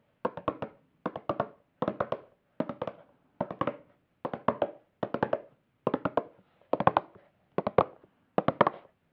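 A small, flat, square black plastic makeup palette with a patterned lid and hollow case is held in hand near the mic and tapped with long acrylic nails. Eleven quick bursts of three or four dry, clicky taps each come at a steady pace, with a hollow midrange tone and almost no ring between them.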